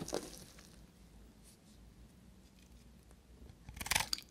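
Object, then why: Soap bar scraped with a knife blade. A palm-sized, solid, dry soap bar with a copper-painted surface is held in hand and scraped and cut with a knife blade. A bright, dry crunch opens the clip, followed by faint, quiet scraping, then a louder cluster of crisp crunching near the end.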